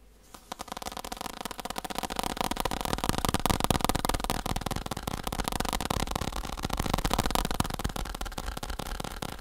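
Fingertips tap quickly on a faux leather saddle. The result is a rapid, continuous patter of dull, soft, muffled taps, heavy in the low end, with each tap stopping short and no ring.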